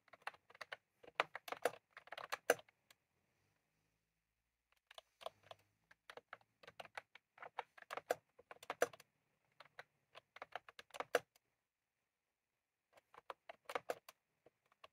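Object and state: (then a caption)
Plastic round-key keyboard being typed on. Fingertips of both hands type on a white/cream plastic retro computer keyboard with round typewriter-style keycaps resting on a desk. Quick bursts of short, dry clicks come in quiet runs separated by brief pauses. The keystrokes have a crisp, mid-pitched clack that reaches into the highs and stops almost instantly.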